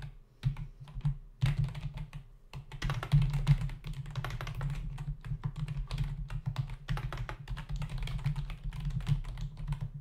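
Fingertips of both hands type rapidly on a full-size black plastic membrane keyboard with hollow keys resting on a dark desk. The sound is a dense stream of short, dull plastic taps with a low, thumpy body and quick decay, punctuated by brief lulls and a few louder clacks.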